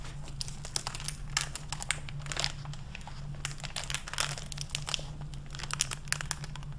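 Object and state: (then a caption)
Hardcover book with crinkly plastic jacket cover. A medium hardcover library book in a clear plastic jacket over a paper dust jacket is handled with fingertips and long red-painted nails that open it, flip its solid paper pages, and rub the plastic cover. The result is a steady run of crisp, bright crinkles and crackles with quick page rustles over a low steady hum.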